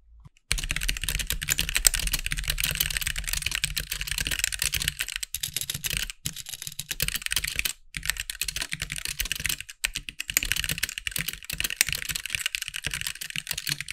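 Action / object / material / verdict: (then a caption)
tap / mechanical keyboard with plastic keycaps / plastic / none. A compact backlit mechanical keyboard with white plastic keycaps is typed on quickly with the fingertips of both hands. A dense, continuous run of bright, sharp clicks and clacks sits over a low thock from each keystroke, with a few brief pauses where the typing stops. Each click dies away almost instantly.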